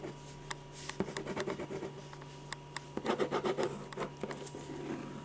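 A silver metal ballpoint pen scratches quick shading strokes around the eyes and hair of a portrait on a large white paper sheet resting on an easel board. Short, dry scratchy rasps come in uneven bursts, with a busier flurry of strokes near the middle. A faint steady hum sits underneath throughout.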